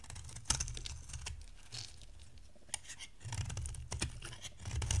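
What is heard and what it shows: A box-cutter blade dry-shaves an oval, solid yellow bar of dry soap. Sharp, bright scraping clicks and crackles come through over a steady low rumble. Dense bursts of shaving crackle near the start and end are broken by a few louder snaps.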